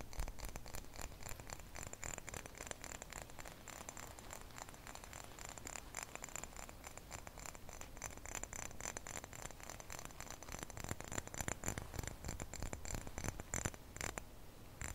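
A small, clear, empty glass drink bottle is held in both hands while fingertips and nails tap and scratch across the glass. The result is a dense, continuous stream of quick, dry clicks and scrapes with a bright glassy edge and a low hollow body. The taps grow a little sharper and louder toward the end.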